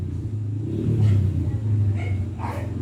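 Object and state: Nothing is struck.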